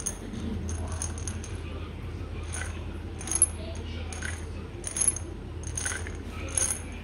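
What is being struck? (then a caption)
Small glass bottle with metal screw cap, holding tablets. A small amber glass vitamin bottle with a gold metal screw cap, apparently filled with tablets, is handled while fingernails tap the cap and the bottle is shaken. Bright, crisp clicks and short rattling bursts come in clusters over a steady low hum.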